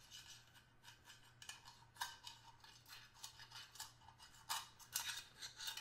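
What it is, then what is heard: Stainless steel hip flask. A small, hollow stainless steel hip flask, held close, is tapped and scraped with the tip of a small screwdriver. The result is a quiet series of bright, metallic ticks and short rasping scrapes that ring briefly, with a faint low hum underneath.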